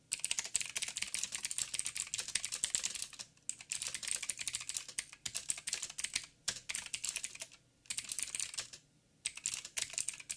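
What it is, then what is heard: Mechanical keyboard with plastic keycaps. Fingertips of both hands type rapid taps on a backlit mechanical keyboard with black plastic keycaps on a silver frame and a hollow housing. Dense, bright, clicky keystrokes come in bursts with brief pauses between runs.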